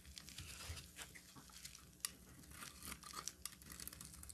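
A metal utility knife blade carves a solid orange bar of soap, with brittle chips falling onto a table. The result is a quiet, bright scraping and crackling, full of tiny crisp ticks and a few sharper snaps, over a faint low rumble.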